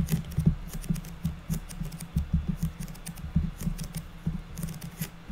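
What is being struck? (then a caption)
Unfinished wooden board. Long natural nails of both hands tap and pitter-patter across the top of a flat, square, unfinished light wood board or box lid. The clip is a quick, irregular run of short, dry clicks with a low woody body and brief bright ticks, each fading almost at once.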